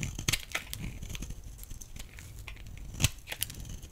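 A blade shaves crumbly flakes off the edge of a solid, rectangular, pale yellow bar of dry laundry soap. A dry, crackling scrape with a bright crumbling texture runs throughout, broken by several sharp, crisp snaps as flakes break away over a soft low rumble.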